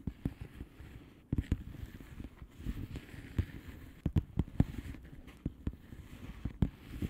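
Long polished nails slowly tap the bubbles of a flat, hollow plastic bubble-wrap mailer lying on a surface. The result is a run of soft, dull, low taps that stop short with no ring, spaced irregularly over a faint crinkly rustle.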